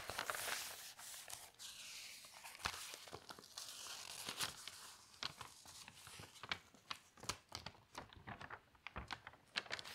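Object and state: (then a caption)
Newspaper pages being turned. An open newsprint newspaper has its pages lifted and turned by hand, then smoothed flat. The result is bright, crisp rustling and crinkling, with a sustained papery swish at the start. It gives way to many short sharp crackles and snaps toward the end.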